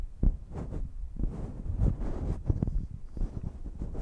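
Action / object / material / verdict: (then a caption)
tap / metal pencil condenser microphone body / metal / none. Fingertips and long nails rub and tap along the bodies of two identical silver metal pencil condenser microphones, hollow metal tubes with no foam covers, near the capsules. The result is a run of dull, low, boomy thumps and soft muffled rubbing, with almost no high end and very short decay.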